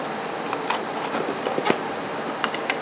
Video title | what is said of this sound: Ship Weekend Ebay Etsy and Poshmark Orders With me | when you shake it you do not hear them which is what you want for transport